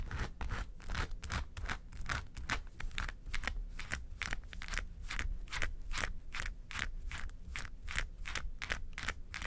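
Long nails scratch the side panels of a small, hollow, yellow textured faux-leather makeup suitcase, making a steady run of quick, dry, rasping strokes. Bright scrapes repeat over a low hollow rumble, with short strokes that fade almost at once.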